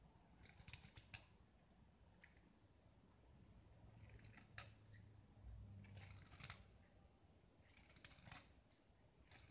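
A small, solid white gypsum block with a blue painted rim is held in the hand and scraped with a segmented metal utility knife blade, shaving off white powder and flakes. Quiet, bright, crisp scraping bursts come in irregular clusters over a steady low hum. Each scrape dies away quickly.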